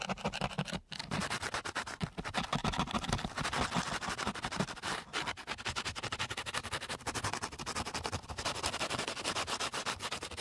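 A flat wooden stick is dragged back and forth across a flat, gritty sheet of coarse sandpaper. The result is a dense run of rapid, rasping scratch strokes with a bright, broadband hiss. It keeps an even loudness, with a brief pause near the start and a short dip around the middle.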